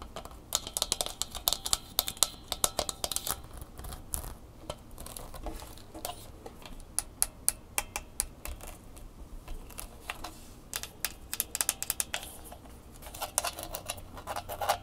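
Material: Plastic.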